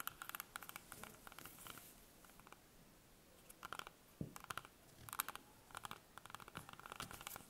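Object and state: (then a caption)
Green apple tapped and scratched with fingernails. A whole, solid green apple held in the hands as long painted fingernails tap and scratch its skin. Quick, bright, dry clicks and scratchy crackles come in clusters with short quiet gaps, and the clusters are loudest near the middle and end. Each tap dies away almost at once.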